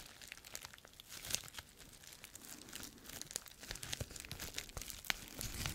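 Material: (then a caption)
Plastic. A small sheet of clear plastic bubble wrap with air-filled bubbles is held in both hands close to the mic and squeezed, crinkled and popped with the fingertips. A steady, bright crackling crinkle runs throughout, punctuated by sharp, quick pops that die away instantly.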